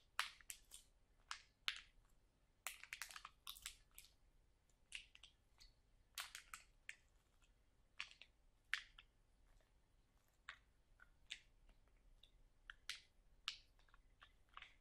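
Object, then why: Sealed plastic bag of sauerkraut. Fingertips and nails press and scratch the back side of a full, sealed plastic bag of sauerkraut. Quiet, bright bursts of crinkling and scratching come in quick, irregular clusters over about fifteen seconds. Each crackle is short and dry and stops almost at once, with very little low end.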